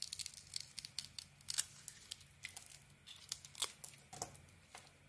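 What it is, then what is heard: Soap bar being shaved. A solid green soap bar with a white core is held in hand and shaved with a metal blade, peeling off curls of soap. Quiet, dry, bright scraping and crackling comes in quick irregular bursts, each snap dying away almost at once, over a faint low hum.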